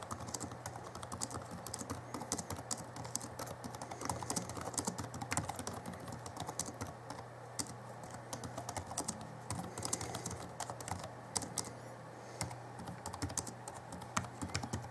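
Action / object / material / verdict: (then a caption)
tap / plastic laptop keyboard keys / plastic / none. Both hands type rapidly with their fingertips on the backlit chiclet keyboard of a 2011 Alienware M11x R2 laptop, producing a steady stream of quick, dry, clicky taps from its plastic keys. Each tap dies away almost instantly, with occasional slightly louder strikes standing out. A faint, steady low hum runs underneath throughout.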